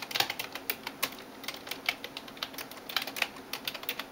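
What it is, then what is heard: Plastic computer keyboard. A hand types rapidly on a backlit plastic computer keyboard, tapping the keys with fingertips and nails. The result is a quick, uneven stream of short, bright clicks with almost no low end and no ring after each tap.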